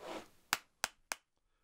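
Polished, layered paper balls are knocked together, giving three sharp, bright clapping-like cracks that die away almost instantly. Though their inner layers are loose, the balls are rock-hard, like cannonballs or billiard balls. A soft rustle comes before the first knock.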